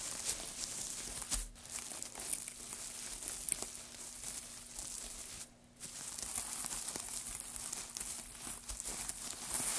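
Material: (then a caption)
Wood. Both hands press and scrunch a loose pile of thin wood shavings on a black surface with their fingertips. The result is a continuous, dense, bright crinkling and crackling, with short quiet breaks near 1.5 and 5.6 seconds, over a faint steady low hum.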